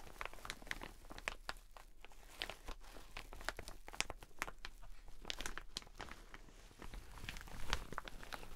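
A teal satin shower cap is held in both hands, stretched and rubbed, then moved off to the side. It makes dense, quick crinkling and crunching rustles with sharp bright snaps over a steady low rumble, and the level swells near the end.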